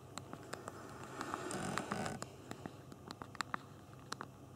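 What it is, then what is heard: Phone with a physical plastic keyboard being typed on. Thumbs tap rapidly on the backlit plastic keyboard of a small BlackBerry Q10 phone while typing text. The result is a quick, irregular run of sharp, dry clicks with brief bright ticks over a soft rustling bed.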